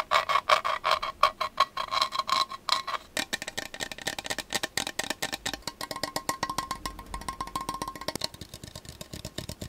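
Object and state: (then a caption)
Measuring cup. A measuring cup is tapped rapidly with short, clicky, wood-block-like taps that carry a bright tone around 1.1 kHz. For the first three seconds the taps are louder and more spaced, then they turn into a denser, quicker, softer patter for the rest of the clip. Each tap dies away almost at once.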